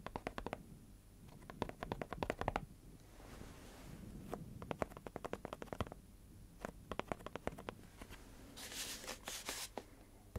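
A tall, hollow cylindrical cardboard or composite can, wrapped in handwritten paper and topped with a metal-rimmed lid, is held in both hands and tapped and scratched with fingertips and nails. Quick flurries of short, dry taps alternate with softer scratching stretches, and a bright, hissy scrape rises near the end. A faint steady low hum runs underneath throughout.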